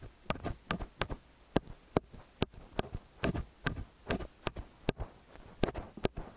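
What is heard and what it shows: Fingers and nails hold the two metal capsules of an XY stereo microphone and tap and scratch them throughout. Sharp, bright clicks come every fraction of a second, with close, muffled rubbing and low thumps between them.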